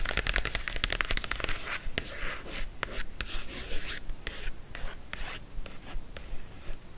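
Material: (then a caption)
Paper. Long acrylic nails scratch and rub the cover of a thin glossy paper magazine lying flat on fabric. A quick run of crisp, bright scratching clicks gives way to softer, papery rubbing swishes with occasional sharp ticks.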